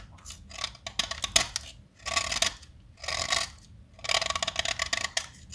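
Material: Chalk.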